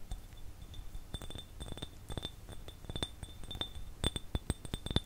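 Fingertips and fingernails tap and scratch an empty, hand-sized, hollow clear glass jar with a threaded rim. Quick, dry clinks and clicks come in uneven bursts over a faint, steady high ring, with short taps cutting off almost at once.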